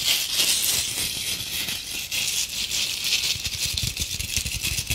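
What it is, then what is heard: Glitter-covered decorative apple. Long acrylic nails slowly scratch and tap the rough glittery surface of a red glitter-covered decorative apple ornament with a stem. The result is a steady, bright, gritty rattling hiss concentrated in the high range, with soft low taps scattered underneath.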